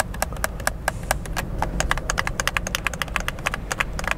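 Fingertips and thumbs rapidly press the buttons of a hollow white plastic gamepad held in both hands, making a steady stream of about 31 short, sharp plastic clicks over four seconds. Each click is dry and bright with almost no ring, over a constant low background rumble.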